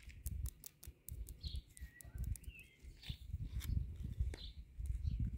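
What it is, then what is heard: Concrete garden border posts tapped with nails. Long nails tap along the tops and sides of a concrete palisade garden border, a row of solid concrete cylinder posts, producing a rapid run of short, dry taps with low thuds and bright, sharp clicks that stop almost instantly. Faint chirping sweeps sound in the background outdoors.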